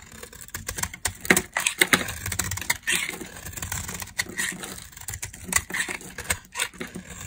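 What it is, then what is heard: Dry laundry soap bar being carved. A metal utility blade carves crumbly dry chunks and slivers off a solid, rectangular, tan-brown household laundry soap bar held in the hand. The result is a rapid run of short, crisp scraping crunches with a bright, gritty edge and almost no ring, over a faint low rumble.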